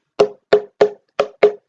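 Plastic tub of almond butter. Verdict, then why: Full. A bigger tub full of almond butter is struck five times like a drum, giving five short, dull, wood-block-like knocks with a low-mid tone around 420 Hz. Each knock dies away quickly, and there are brief silences between them.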